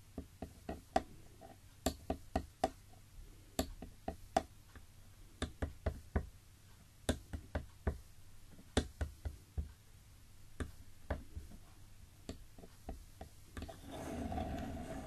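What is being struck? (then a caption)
Wooden block. Bare fingertips of gloved hands knock on the top of a long, solid, light-coloured wooden block lying on a table, with a black and yellow figurine standing on it. Twenty-six short, dry, hollow knocks land in an irregular rhythm, each with a low-mid tone and almost no ring. The clip ends in a softer, broader rustle.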